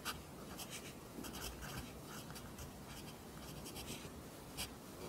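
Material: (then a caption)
Paper. A pencil writes continuously in Korean script on an open lined paper notebook, its graphite scratching the paper. Quiet, steady scratching is broken by short, brighter bursts of hiss as strokes press harder, over a faint low rumble.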